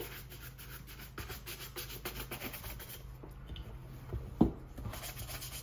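A hollow brown leather cap-toe oxford with a shoe tree inside, held in a gloved hand, is brushed vigorously with a handheld shoe-shine brush. Rapid back-and-forth rubbing strokes over the upper make soft, airy scratching swishes over a low hum. One firmer knock stands out near the end.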